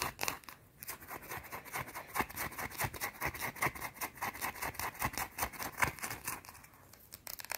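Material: Soap.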